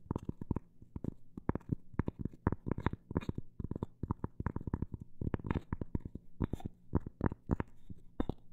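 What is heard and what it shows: A cork coaster is tapped in a quick, uneven run of soft, dull taps, some faster and some spaced out. Each tap is short and dry with no ring, mostly a low thud with a faint brighter click on the stronger hits.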